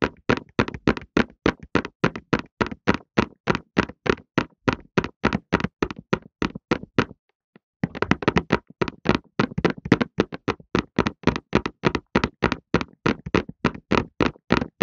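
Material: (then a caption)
Cardboard. A hollow cardboard Softlan tissue box, full of tissues and held in both hands, is tapped with fingertips and short nails in a quick, uneven rhythm. About 63 short, dry hollow taps with a low-mid thud die away almost instantly, with a brief pause just past the halfway point.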